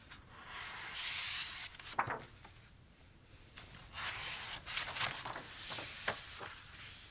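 Fingertips rub over the uncoated paper pages of an open notebook with a pink hardcover, and pages are turned. The sound is a bright, airy papery rustle and swish that swells and fades, broken by a few short, crisp snaps as the pages flip.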